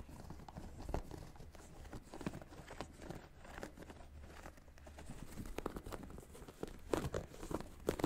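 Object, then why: Sneaker with textile upper and foam rubber sole. Fingertips and short nails scratch and tap the upper and the white foam and rubber sole, with its air unit, of a single hollow, empty beige sneaker with a patterned textile or leather upper, held close. The result is a steady, quiet bed of dry, crinkly scratching dotted with short, muffled taps that stop dead, mostly low and soft with little high brightness, growing a bit busier near the end.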